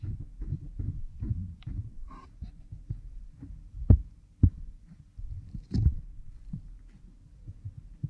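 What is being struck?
Oiled silicone ear model on a microphone, scratched with a bamboo stick.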